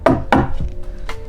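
Knocks on a WRX STI's bare sheet-metal car door panel with no sound-deadening material produce several loud, hollow, resonant thumps. A low ringing tone lingers between them, showing the untreated door panel is loud and resonant.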